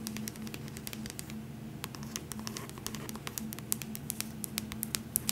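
Long nails tap and scratch the cover and spine of an upright paperback copy of The Hobbit, making a quick run of sharp, bright clicks over soft scratchy rustling. A steady low hum sits underneath, and each tap dies away almost instantly.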